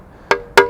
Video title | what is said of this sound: Mystery Tour: Bond Store works part one – the roof | It's got that sharp sound, whereas if there's a crack somewhere within it, there'll be a dull resonance.